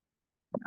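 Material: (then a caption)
Acrylic. A J.Crew beaded necklace with acrylic beads is tapped with a metal object to tell glass from plastic. It gives one short, dull click with a low-mid pitch and almost no ring. The beads turn out to be acrylic, not glass.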